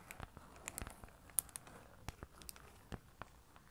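Long orange nails tap along the edges and front of a flat card certificate in a plastic sleeve held in both hands. Quiet, irregular, sharp dry taps and bright crinkly clicks sound over a soft low background, each tap dying away instantly.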